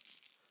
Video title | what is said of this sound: RROR Ep#0116 - Artificial Bait 101 | so they have rattles in them